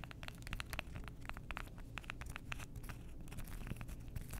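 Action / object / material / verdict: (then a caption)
tap / stack of cork coasters / cork / none. Long nails scratch and tap along the edges and face of a stack of several flat, solid, flower-shaped cork coasters with dark edges. A quick, uneven run of light, dry clicks and scratchy crinkles rides over a steady low rumble, each tap dying away almost at once.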